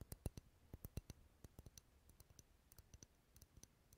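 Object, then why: Wax candles. Wax candles sitting in a bowl as decoration, rarely lit, are tapped in a quick, uneven run of about twenty short, dry taps. Each tap is a soft low thump with a brief bright click, stopping almost instantly. The result is quiet, dense clicking.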